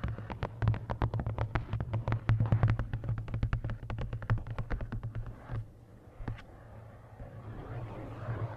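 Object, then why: Paperback book with card cover. Long nails rapidly tap the top edge and card cover of a large paperback coloring book held upright, making a run of sharp, dry clicks over a steady low hum. After about five and a half seconds the tapping gives way to a single click and then a soft, continuous scratching across the cover.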